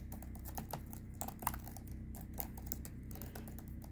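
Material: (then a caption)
Plastic. A hand with long red-painted nails types across the light plastic chiclet keys of a silver HP laptop keyboard. Rapid, fast-decaying key clicks patter over a steady low hum, with a few sharper, louder clicks standing out.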